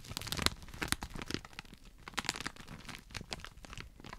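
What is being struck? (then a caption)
Small package in a clear plastic wrapper. A small rectangular pink patterned package in a clear plastic wrapper is held beside a microphone, and fingertips crinkle and scratch the cellophane film. The result is a dense run of bright, crackling crinkles and tearing-like rustles with sharp snaps that fade quickly.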